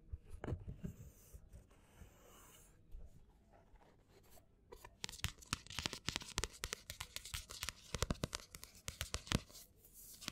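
A black paperback book lies flat while fingertips and nails scratch along the solid block of page edges, then tap on its matte card cover. Soft, dry scratching and rustling gives way to a dense run of quick, crisp taps with bright clicky tops and a low thud beneath. Each sound dies away almost instantly.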